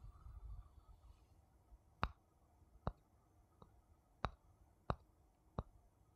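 A small, hollow, empty wooden bowl held in the hand is tapped on the outside with a thin wooden stick. Short, dry, clicky taps sound at uneven intervals over a quiet background, each dying away almost instantly with no ring, after a soft low rumble at the start.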